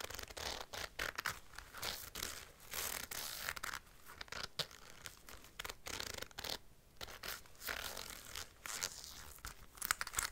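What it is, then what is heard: Leather jacket sleeve with metal zipper. Long light-blue nails scratch and tap the forearm sleeve of a worn black (possibly faux) leather biker jacket, moving across the grained leather and the teeth of its gold metal zipper. Bright, dry rasping scratches alternate with quick, clicky taps in short bursts, with little low end and almost no ring after each touch.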